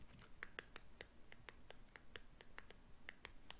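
Medium-length teal-painted fingernails scratch and tap a small, hollow, purple and blue printed paperboard cosmetic box held in both hands. The result is a quiet, irregular run of short, dry clicks with a bright, crisp edge over a low hush.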